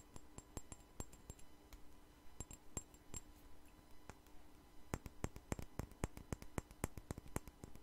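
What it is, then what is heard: Glass perfume bottle. A clear glass perfume bottle with a white flower cap is turned in the hands while long nails tap and scratch its glass body and cap. Quick, sharp, bright clicks come in uneven bursts, each dying away almost at once, over a soft low background hum. The tapping grows denser and louder in the second half.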